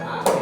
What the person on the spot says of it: อันนี้คานดังตึกๆเห็นมั้ยอ่าตึกๆอ่า